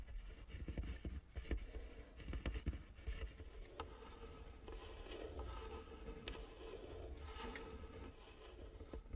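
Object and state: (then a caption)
Wooden model house. A small, hollow model log cabin made of light wooden sticks is held and turned in the hands while fingertips and nails rub and scratch along its edges. The result is a continuous dry scraping and scratching texture with soft, low handling thumps and brief taps scattered throughout, mostly low in tone with only faint bright detail.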